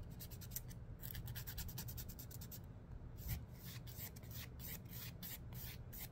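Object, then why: Emery board nail file. Fingernails are drawn rapidly along the abrasive surface of a long, dark, thin and solid emery board nail file. This makes a quick series of dry, bright rasping strokes over a soft, steady low rumble. Each scrape is short and fades almost at once.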